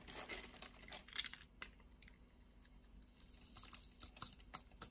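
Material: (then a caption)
Soap. A steel craft-knife blade scores criss-cross lines into a solid red soap bar held in the palm and scrapes off small soap cubes. The result is quiet, bright, crisp scratching and crackly ticks, dense at the start, sparse in the middle, then bunching into sharp clicks toward the end.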